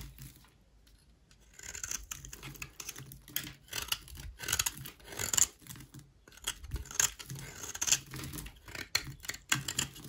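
A utility knife blade scrapes a solid white rectangular bar of dry soap held in the hand. After a quiet first second or so, it makes a run of crisp, bright, dry rasps and scratchy strokes at an irregular pace, each ending abruptly with almost no ring.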